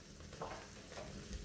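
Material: Nothing is struck.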